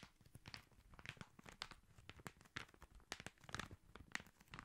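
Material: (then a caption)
Paper. Fingertips and nails tap and scratch the red Christmas wrapping paper on a long wrapped cylinder, likely a hollow cardboard tube, held horizontally and then diagonally. Quiet, dense, dry papery taps and crinkly scratches come in quick succession, bright and short with almost no ring.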